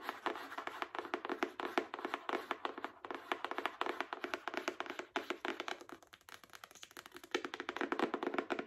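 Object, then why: Hardcover book with paper dust jacket. Long acrylic nails tap rapidly on the front cover of a solid Spark Joy hardcover book with a paper dust jacket. The result is a steady stream of quick, dry, clicky taps with a mid-pitched papery body and almost no ring. The taps come in uneven bursts, thinning out briefly near the end before picking up again louder.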